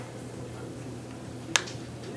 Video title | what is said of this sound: I Got The Thing Every NYer Wants: AirPods Max First Look | do you hear that? That is aluminum on aluminum just tapping.